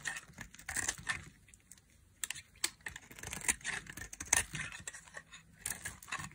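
A solid pink bar of dry soap, held in a hand with long painted nails, has its edge carved with a thin black blade in short cutting strokes while flakes fall off. Each stroke gives a dry, crisp, bright scraping crunch with no ring, repeating in quick, irregular bursts at a quiet level.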